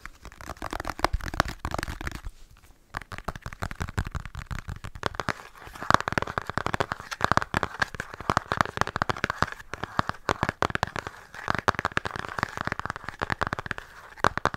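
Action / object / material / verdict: tap / flat cardboard makeup palette / cardboard / none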